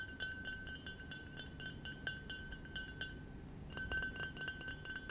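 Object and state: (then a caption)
Double-walled glass tumbler with wine. A small, clear double-walled glass tumbler, partly filled with white wine and held in the palm, is tapped with fingertips and nails. The result is a quick run of bright, short glassy clinks with a brief pause in the middle before the tapping resumes.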